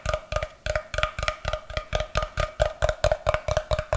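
A solid, brick-sized block of unfinished light wood held in one hand is tapped and scratched across its face with fingertips and nails. About 18 quick, dry knocks come in an uneven rhythm, each with a low thump, a short hollow woody tone around 600 Hz, and a faint bright scratchy edge that dies away almost at once.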